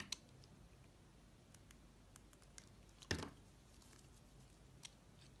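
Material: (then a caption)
Soap. A steel utility-knife blade cuts and scrapes grooves into a fist-sized piece of solid yellow and green soap carved to look like a bell pepper, held in fingers with painted nails. Quiet, bright scraping runs throughout, broken by a few short, crisp clicks and one louder, fuller cut near the middle that fades quickly.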